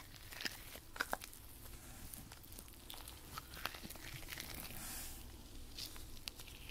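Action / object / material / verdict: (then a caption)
scrape / nitrile rubber gloves / nitrile rubber / none. Hands in white nitrile rubber gloves rub over each other, palms and backs sliding together with a soft, continuous rubbery swish and crinkle. Brief, bright squeaks pop out above the steady rubbing, and the clip holds a quiet, even level throughout.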